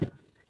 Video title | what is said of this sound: Nhà Vườn Tại Long Khánh Nhộn Nhịp Khi Giá Sầu Riêng Đầu Vụ 2024 Tăng Cao #ChợViệtTV | gõ nghe bộp bộp là chín rồi